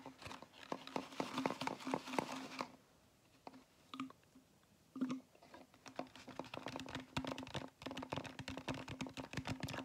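A large, hollow foam fast-food drink cup with a plastic dome lid and straw is tapped with fingertips and nails on its foam side. Rapid, dry, light taps and scratchy crinkling come in dense bursts, with a quieter, sparse stretch in the middle. The taps die away almost instantly with no ring.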